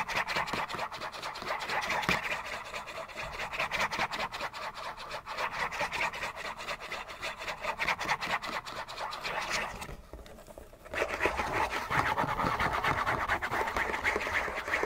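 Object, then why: Cardboard tissue box. Fingernails scratch fast along the sides and edges of a hollow, printed cardboard Kleenex facial tissue box, making a dense, dry rasping with a bright, papery texture. The scratching runs almost continuously, pausing briefly near the 10-second mark before resuming at the same energetic pace.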